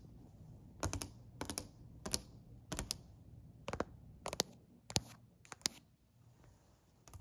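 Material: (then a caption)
Wood. A hand taps a solid dark-stained wooden plank, likely a stair step or bench, with a long acrylic nail and fingertips. Quick clusters of sharp, bright clicks repeat over a low steady background hum, each tap dying away almost at once.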